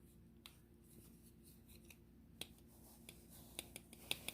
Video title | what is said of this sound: (590) Cold Steel Recon 1 Tri Ad Lock Tension Adjustment Demonstration | you gotta shake it pretty hard that means i've weakened it enough